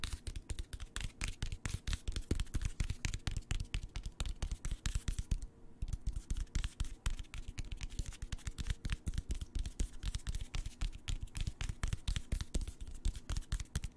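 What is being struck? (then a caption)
Hardcover paper book spine. Fingertips and nails tap along the spine of a solid, closed hardcover paper book, *The Rising Storm*, held spine-up. The result is a fast, uneven stream of short, dull, low taps with a faint scratchy edge, broken by one brief pause near the middle.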